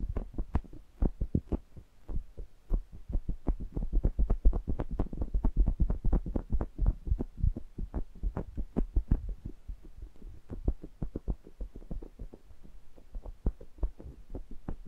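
Index fingertips tap and rub the metal mesh grilles of a stereo pair of small metal pencil condenser microphones, picked up as direct mic contact. Dozens of short, dull, bass-heavy thumps come in an uneven, rapid stream, with soft scratchy rubbing between taps and a low hum underneath.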